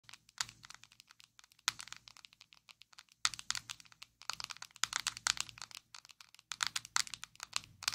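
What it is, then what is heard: Plastic loose powder jar. Long acrylic nails tap and scratch a small square black plastic Maybelline Fit Me loose powder jar, hollow and filled with powder, held in both hands. The result is a quick, uneven stream of crisp, bright clicks and scratchy crinkling sounds in short bursts, each dying away almost instantly with no low body.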